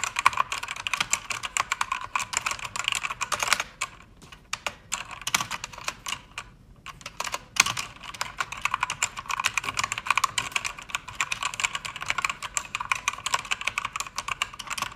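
Fingertips with long red nails type on a pink-backlit mechanical keyboard with plastic keycaps, producing a steady stream of bright, short clicky keystrokes. The typing pauses briefly around the middle, then resumes at a fast pace.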